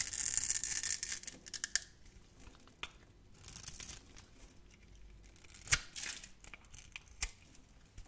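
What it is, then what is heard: Soap bar being carved. A utility knife blade carves small cubes off a solid, hand-sized, grid-scored bar of translucent orange soap. A dense, bright scraping crackle opens the clip, then quieter stretches are broken by crisp clicks and short crunchy bursts as cubes snap free.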